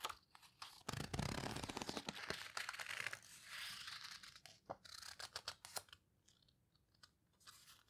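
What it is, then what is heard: Paper photo book being handled. Fingertips with long red nails turn and squeeze the paper pages of an open photo book. Soft, crisp rustling and crinkling bursts come in an uneven rhythm, with brighter, papery swishes and short crackles. It fades to quieter, sparser rustles near the end.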